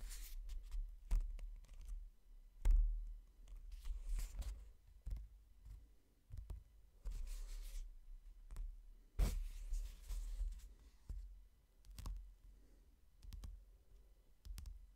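A fingertip taps on the cover and the page edges of a hardcover book, giving soft, dull taps at an uneven pace. Brief bright clicks and brushing rustles stand out over a low, quiet thump, and each tap dies away quickly.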